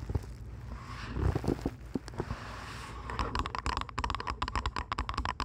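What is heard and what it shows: Long nails tap on the earcups of purple plastic over-ear headphones resting on a microphone. Soft, muffled scraping and low rumbling give way after about three seconds to a quick run of sharp, dry clicks that die away almost instantly.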